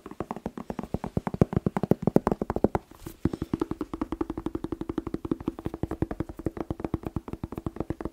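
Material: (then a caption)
Vegetable. Fast tapping on a bell pepper (paprika) makes a steady stream of quick, short, hollow taps with a low tonal knock. The taps are dense and fairly even, with a brief pause around three seconds before they resume.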